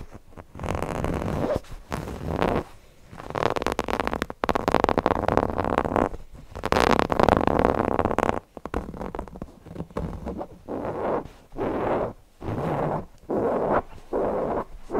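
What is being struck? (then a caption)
Stuffed cotton fabric owl cushion. Fingernails scratch the fabric of a stuffed cotton owl cushion near its eye and along its edge. The result is a series of dry, rasping scratch strokes with short pauses between them, centred in the mid range with little bright content.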